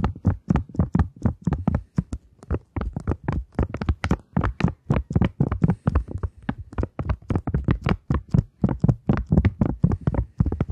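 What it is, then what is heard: Polymer banknote. A thin plastic polymer £20 banknote, held flat in both hands, is tapped with long nail tips in a quick, steady run of dozens of light taps. Each tap is a short, dry, low thud with a faint crisp tick on top and almost no ring.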